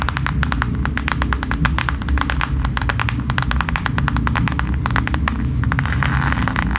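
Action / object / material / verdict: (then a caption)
tap / faux leather passport cover / faux leather / none. A thin, flat mint faux leather passport holder is held up and tapped rapidly with long nails, making a dense run of short, bright clicking taps. The taps continue over a steady low rumbling hum.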